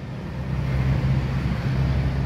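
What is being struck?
Nothing is struck.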